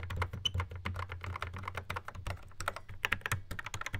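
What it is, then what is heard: Plastic drum machine pads. Fingertips drum rapidly on the pads and buttons of a Yamaha RX11 drum machine in a black plastic housing. A dense stream of short, dry plastic clicks and taps with bright edges rides over a steady low hum.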